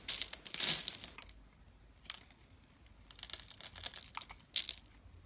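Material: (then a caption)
Glycerin soap. A thin metal blade scores and scratches a grid into a solid, hand-sized, translucent amber glycerin soap bar held in the fingers, then cuts off small cubes. Bright, crisp scraping and crackling bursts come loudest at the start, fade to quiet, and return in clusters of short, sharp scratches. The sound is almost entirely high-pitched, with very little low end.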